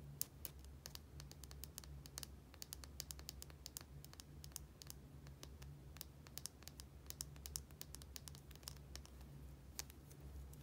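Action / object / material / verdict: tap / small plastic bottle with plastic cap / plastic / none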